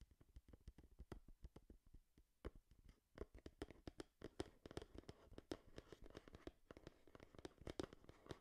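A small, hollow, printed cardboard Game Boy product box is held in both hands in front of the microphone and tapped and scratched with long nails. Dozens of dry, quick taps come at a shifting pace, with soft scratching between them. The taps have a hollow, low-heavy body and die away almost instantly.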